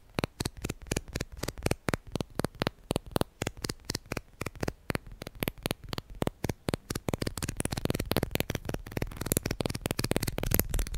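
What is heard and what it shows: Plastic guitar picks are tapped and handled in a fast, steady run of short, sharp clicks. The taps have very little ring and a light, card-like texture. Toward the end they grow denser and slightly louder over a rising rustle.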